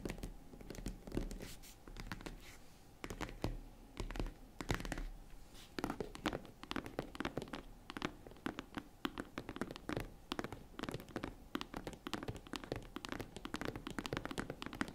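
Long nails tap and scratch the lid of a small, hollow, tan faux-leather zippered jewelry case, then fingers tap its side panels. The result is a dense run of quick, dry taps with a soft, low, hollow thump and a light scratchy rasp, each dying away almost at once.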